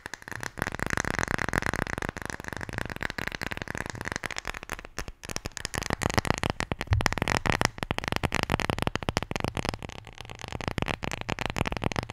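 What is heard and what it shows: A wooden Scrabble letter tile, the J, is tapped and scratched in a rapid, continuous stream of short, dry clicks and rasping scrapes. A faint tone near 1.9 kHz hums under the first few seconds, and the steady texture runs the full twelve seconds without pause.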